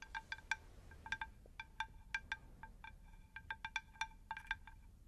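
A round, shallow, unglazed terracotta plant saucer is tapped with long nails close to the microphones, giving about twenty quick, bright clinks. Each clink carries a stacked set of ringing tones around 900 Hz and 1.6 kHz that die away almost at once, over a low, steady background rumble.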